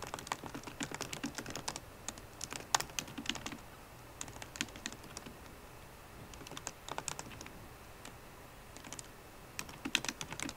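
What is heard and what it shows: Fast typing with long nails and fingertips on a MacBook Pro keyboard, with plastic keycaps set in an aluminum body. Bursts of quick, bright, clicky taps come in runs, with quieter lulls around the middle and near the end. Each tap is short and dry, with almost no ring.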